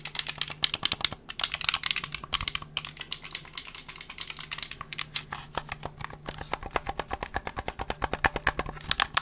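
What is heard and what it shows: A hollow black plastic gamepad, held in both hands and moved toward the camera, has its buttons and triggers clicked and its shell tapped by fingertips. Dozens of quick, bright, dry clicks and taps follow each other in dense, uneven bursts, each stopping almost at once, over a faint steady low hum.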